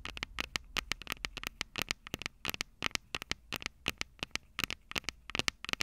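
Long purple acrylic nails tap and scratch the two metal microphone capsules of a small black plastic Tascam DR-05 recorder held upright. About 34 sharp, bright clicks with almost no ring come in quick, uneven bursts, centered around 2 kHz, over a faint low hum and soft scratching between the taps.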